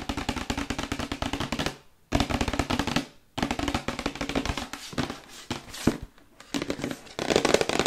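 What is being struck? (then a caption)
Printed paperboard box. Long white nails tap rapidly on the front and side panels of a hollow, printed paperboard Yeti microphone box held up in both hands. Dense bursts of quick, dry, papery clicks carry a hollow low-mid thump, broken by brief silences just before 2 and 3.3 seconds and a quieter dip around 6 seconds.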